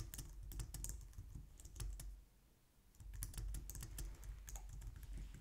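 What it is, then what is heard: Plastic computer keyboard being typed on. Both hands type on a white plastic low-profile wireless keyboard with long nails and fingertips, producing a steady run of quick, bright clicking keystrokes over a soft low rumble. The typing pauses briefly near the middle, then resumes at the same pace until the end.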